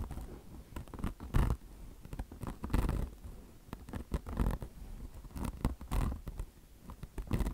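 Long blue nails scratch the mesh top of a mesh-covered microfiber car wash sponge resting on marble, using both hands. Irregular rough, rasping strokes come in uneven bursts, with a heavy low-end rumble under the scratching.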